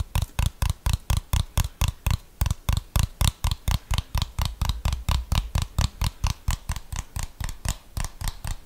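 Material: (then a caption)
Plastic. A handheld plastic TV remote control with rubber buttons, held close to the microphone, is tapped and scratched with fingernails. About 36 quick, dry taps come in a steady but slightly uneven patter, each with a low, thuddy body and a faint bright click. The taps stop dead with no ring.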